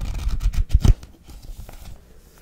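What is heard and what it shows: Long nails and fingertips tap and scratch the glossy card cover of the paperback novel "It Happened One Summer," which lies on a knitted blanket. A quick cluster of dull, low taps with scratchy brushing comes in the first second, then softer, sparse tapping and scraping follow.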